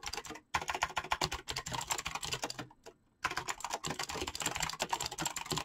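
Fingertips type rapidly on a full-size backlit mechanical keyboard with PBT plastic keycaps, producing a dense stream of sharp, bright clacks with short, dry decay. The typing pauses briefly near the start and again for a moment about halfway through, then resumes at the same fast pace.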